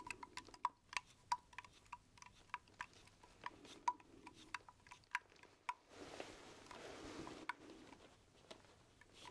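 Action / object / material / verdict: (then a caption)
tap / metal aerosol can / metal / none. A red, white and blue metal aerosol spray can, likely shaving cream, with a plain silver base, hollow and of unknown fullness, is held sideways in one hand and tapped with the fingertips. About two dozen quiet, quick taps each give a short metallic ping with a tone near 1 kHz. A soft, broad rustling wash rises in the middle stretch before the tapping resumes.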